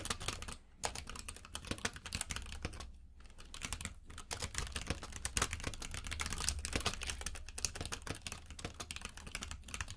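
Both hands type with their fingertips on a compact mechanical keyboard with plastic keycaps in a grey frame, lying on a purple rug. The result is a rapid, continuous stream of sharp, clicky key taps with bright highs over a steady low hum.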